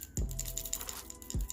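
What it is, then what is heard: Rattling jerkbait lure (rattle chamber). A plastic jerkbait lure with a rattle chamber is shaken and handled, and its hooks may be handled too, producing a quick series of bright, high clicking rattles. Two dull low thumps from the handling open and close the clip. The rattle sounds normal for this kind of lure.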